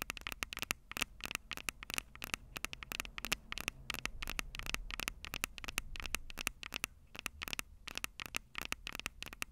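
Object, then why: Handheld audio recorder with metal microphone capsules. Long purple nails scratch and tap rapidly on the silver metal mic capsules of a Tascam DR-05 handheld audio recorder. Dozens of sharp, bright clicks and scrapes stop almost instantly, with a ringing tone near 2.7 kHz, over a faint low hum and soft crackle.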